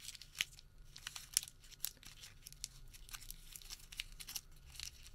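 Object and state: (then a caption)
Thermal paper receipt crumpled. A small, thin, light white thermal paper store receipt is crumpled into a tight ball and worked between the fingertips of both hands. Quiet, bright crinkling and crumpling crackles come in irregular bursts, with a few sharper snaps standing out over a soft low hiss.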